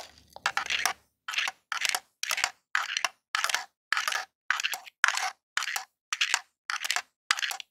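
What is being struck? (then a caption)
Plastic game controller. A long jeweled nail taps and scratches the surface and d-pad of a grey hollow plastic Super Nintendo controller lying on a table. Short bursts of bright, crackly plastic scratching repeat at a steady rhythm with brief silences between them, each burst dying away almost instantly.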